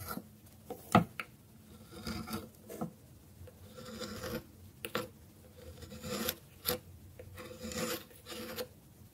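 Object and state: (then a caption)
Dry bar soap scraped. A solid bar of dry soap held on a wooden board has its edge scraped with a metal blade. A series of dry, raspy scraping strokes rises and fades, punctuated by sharp crisp clicks as flakes break away. Each stroke is short, with a bright, gritty texture over a low background hush.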